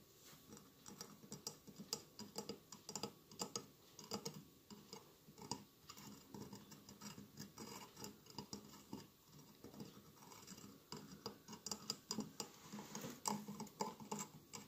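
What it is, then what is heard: Glass mosaic candle holder. Fingernails tap and scratch the mosaic glass tiles on both sides of a medium hollow glass votive candle holder with a lit candle inside. Quiet, rapid, irregular clicks and light scratches with a bright, glassy edge continue throughout, each tap ringing only briefly.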